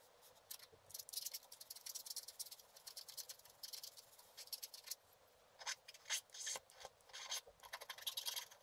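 A wooden stylus scratches the coating on the lower area of a flat scratch-art paper sheet, held by one hand, in rubbing strokes. Quiet, bright, dry scratching comes in rapid bursts of short strokes with brief pauses, with no low end at all.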